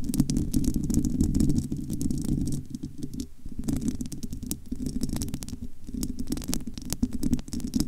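Long almond nails of both hands scratch the bare, hollow, domed metal wire-mesh grille of a large studio microphone. The result is a dense, low, rumbling scrape with a steady hum near 246 Hz, peppered with rapid dry clicks and faint bright ticks. It is loudest in the first couple of seconds, then eases into a softer, uneven scratching.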